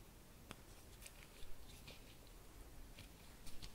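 A fabric-covered embroidered bauble with studs and ribbon is held in both hands while long nails scratch and tap across its surface. Soft, quiet scratching runs throughout, broken by sharp, bright little taps, with clusters near the middle and end.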